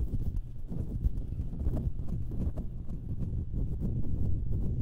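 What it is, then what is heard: Metal microphone grille. Long nails scratch and tap the hollow metal mesh grilles of two identical stereo microphones, producing a dense stream of muffled, bassy thumps and rustling scrapes with faint bright ticks. The tapping runs at a steady, even loudness throughout, with a low, rumbling, clip-clop-like rhythm.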